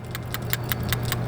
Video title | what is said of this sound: This FIXES G35 Oil Consumption - PCV Valve Replacement | look how much more it rattles. That is, because it's brand new, never used.